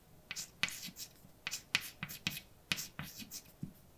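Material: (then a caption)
Chalk. A hand writes letters with white chalk on a large, dark, flat chalkboard, the chalk scraping and tapping across the solid surface. About ten short, sharp, bright taps and strokes stand apart over quiet pauses, each dying away almost instantly.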